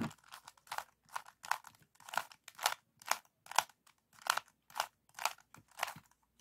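A small, solid, stickerless plastic 3x3 Rubik's cube with orange, yellow and blue faces is held in both hands while the fingertips twist its layers. The result is a quick, irregular series of 16 short, dry clicking and crunching turns, each bright with no ring, separated by brief silences.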